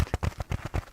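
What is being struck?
Kitchen scrubbing sponge.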